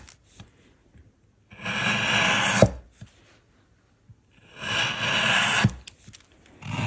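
A small solid block of light-coloured wood resting on a wooden work surface is shaved along its edges with a hand-held patterned steel blade, curling off wood shavings. Two long, bright, hissing scraping strokes each end in a sharp tick, with a third stroke starting at the close. Faint light taps fill the quiet gaps between strokes.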